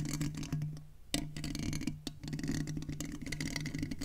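Fingertips and nails tap and scratch the mesh grille head of a silver metal USB condenser microphone, using both hands. Close, dense scratching and soft tapping sit over a steady low hum, with sharp louder taps standing out near 1.1 and 2.1 seconds.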